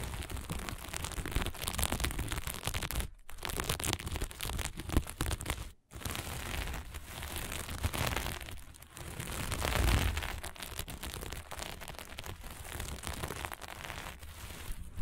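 Flat sequin fabric is scratched fast with the long nails of both hands, giving a dense, continuous crackling and rasping texture across low to bright frequencies. The scratching runs steadily for about fifteen seconds, broken only by two brief silent gaps near the 3- and 6-second marks.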